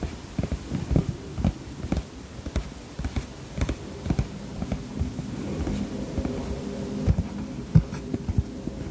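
Fingertips with short-to-medium nails tap the flat front face of a medium-sized iridescent holographic vinyl cosmetic pouch with black polka dots and a zip, using a flicking hand motion; the pouch looks padded or soft and likely not empty. About ten soft, dull, low thumping taps die away almost instantly over a steady low hum.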